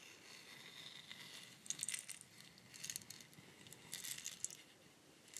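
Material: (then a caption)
Wood. A long, hollow, bamboo-like wooden rainstick with a weathered, bark-like surface and loose beads inside is held horizontally in both hands and tilted, while fingertips and long nails rest on and rub its outside. The beads give a soft, cascading, bright rattle that swells in a few quiet bursts over a faint hiss.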